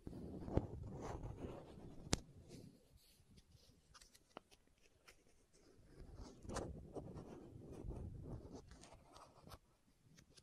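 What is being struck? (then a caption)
Small plastic contact lens case. Long nails scratch a small, hollow green and white plastic contact lens case held close to the microphone and twist its screw lids. The result is quiet, low, rustling scrapes in two longer bursts, broken by a few sharp, dry clicks.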